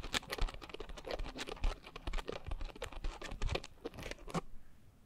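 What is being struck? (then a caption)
Coarse foam scrub sponge. A pink coarse foam scrub sponge is squeezed at the sides, then scratched on top with long nails. It gives a dense run of quick, dry scratching and crackling bursts with bright edges over a soft low rumble. The bursts thin out and fade near the end.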